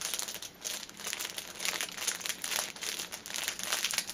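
Long painted nails tap and scratch the top of a cellophane-wrapped stacked six-pack of paper pocket tissue packets lying on a table. The result is a steady stream of bright, crisp crinkling and quick plastic taps, almost all high frequency with no low end.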